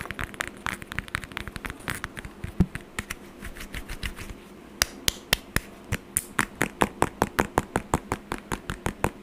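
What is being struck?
Whole orange, peel tapped and scratched with fingernails.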